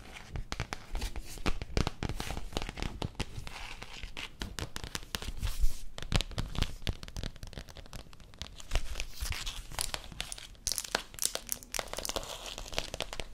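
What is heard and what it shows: A thin, flexible Moranguinho (Strawberry Shortcake) commemorative paper magazine is handled with very long decorated acrylic nails that tap and scratch its glossy cover while the pages are bent and turned. The result is a dense, steady stream of sharp clicking taps, scratchy strokes and crisp paper crinkling with very short, dry decays, fairly quiet overall with a few louder crackles.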